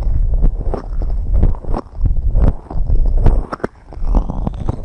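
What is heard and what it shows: Long red acrylic nails continuously tap and scratch the large white silicone rubber ear-shaped covers on both sides of a binaural microphone. The result is a steady stream of quick, muffled thumps and rubbing scrapes. Nearly all of the sound sits in a deep, boomy low range, with only faint brief ticks above it.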